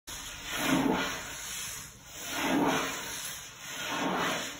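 Long blue acrylic nails on both hands scratch and rub across a flat, solid wood-grain desk top, possibly laminate. Three slow, swelling strokes of dry, hissy friction rise and fall over a steady low noise floor, each with a soft low body under a bright scratchy texture.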